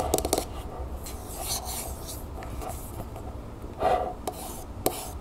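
A single long fingernail taps and scratches the body of a medium, hollow, copper-colored Vaseline aerosol can lying tilted on a wooden table. A quick cluster of sharp metallic ticks with a short mid-pitched ring opens the clip, followed by soft, steady rasping scrapes. A few more bright taps land near the end.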